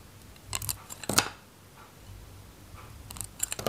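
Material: Soap.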